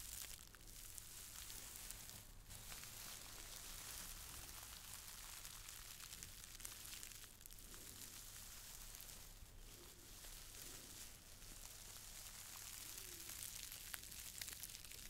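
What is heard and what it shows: Long nails scratch and squeeze a small red-and-white checked cotton gift bag, tied with a dark green ribbon and held upright in both hands. The result is a quiet, steady bright scratching and crinkling hiss, with a low hum underneath.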